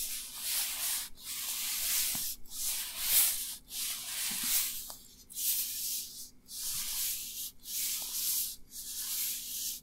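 Dry, thin, flexible black nitrile rubber gloves worn on both hands are rubbed together, fingers and palms, close to the recorder. About eight bright, hissy rubbing strokes follow one another in a steady rhythm, each separated by a brief pause. The swishing is concentrated in the high range, with faint squeaks.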